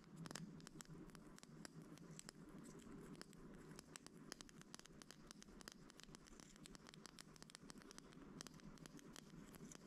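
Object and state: Plastic toothpick holder full of wooden toothpicks.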